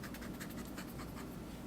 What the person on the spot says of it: my fingernail is scratching the plastic